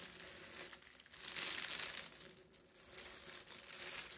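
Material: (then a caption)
Paper. A large, wrinkled, thin sheet of brown parchment paper spread on a table is rubbed with flat palms and fingertips. It gives a quiet, bright, steady crinkling and rustling with almost no low end, swelling and easing in waves as the hands move across the sheet.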